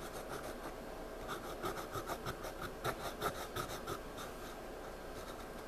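A pencil shades and scribbles on a spiral-bound paper sketchpad lying flat, rubbing lead across the page. Quiet, dry scratching strokes come in an uneven rhythm, with a faint scraping tone near 1.3 kHz and bright, hissy edges. A few strokes stand out slightly louder against a steady soft background.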